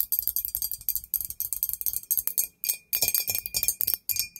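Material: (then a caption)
Ceramic. A white glazed, hollow, medium-sized ceramic ghost-shaped candle holder, standing upright, is tapped with long acrylic nails. The result is a rapid, uneven series of short, bright clicks with a faint ringing tone near 2.5 kHz, a few brief pauses, and almost no low end.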